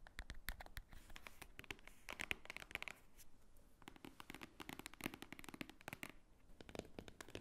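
Long nails tap rapidly on the top cover and sides of a large, thick, white-edged book lying flat as a solid paper stack. The taps are quick, dry and bright with almost no ring, mixed with scratchy brushing and crinkly rustles against quiet background hiss.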